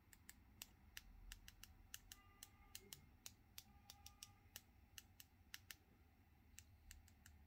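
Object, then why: Long polished natural fingernails. Long natural fingernails painted with silver polish are tapped and clicked tip-to-tip and against each other between both hands, close up. About 26 sharp, bright clicks ring out at an uneven pace over a quiet low hum, each dying away almost instantly.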